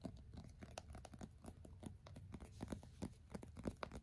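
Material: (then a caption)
Plastic, glass. A smartphone (an iPhone) in a black plastic case is held sideways in both hands while fingertips rapidly and aggressively tap the glass screen and case edges, as if typing. The result is a dense run of short, dry clicks and taps with low-pitched thuds and no ringing.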